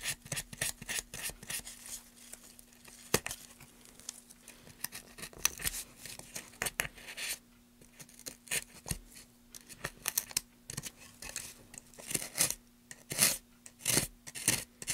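A gloved hand scrapes and cuts along a carved channel in a solid, light wooden plank with a small carving tool. It makes a quick run of short, dry, bright scraping and slicing strokes with brief pauses between bursts. A faint, steady low hum sits underneath.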